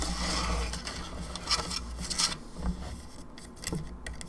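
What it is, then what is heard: Plastic skull lamp, hollow. Long nails tap and scratch across the face and teeth of a hollow plastic skull candelabra lamp. Sharp, bright clicks and scrapes rise over a steady low hum, with the hollow plastic giving each tap a short, dry rattle.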